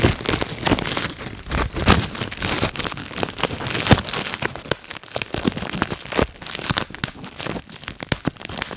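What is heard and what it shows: Fingertips pop bubbles on a clear plastic bubble wrap sheet and crinkle it. Quick, sharp pops burst out one after another over a steady bright crackle of crinkling plastic, with a few louder snaps standing out.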